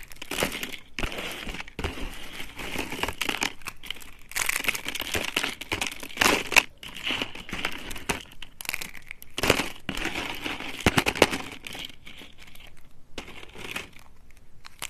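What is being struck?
Soap shards.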